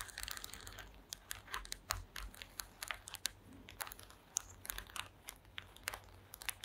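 Long acrylic nails scratch and tap across a flat woven placemat made of small wooden slats. The result is a quiet, dry run of crinkly scratching broken by a rapid series of sharp, bright clicks that stop instantly with no ring.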